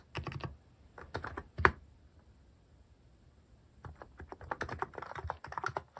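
Fingertips type slowly on a cream plastic-case mechanical keyboard fitted with cat and paw-shaped plastic keycaps. Short, dry clacking key presses come in small bursts, one louder clack stands out near the middle, and after a quiet pause the typing picks up again in a steadier run.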